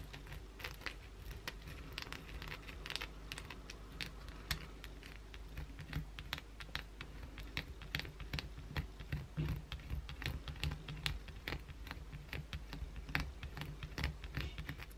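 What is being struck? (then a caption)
Bar of soap. Long blue acrylic nails scratch hard at a solid white bar of soap held over a towel, making soap flakes fall onto it. A steady run of quick, dry, bright scraping and crackling strokes sits over a low, constant hum.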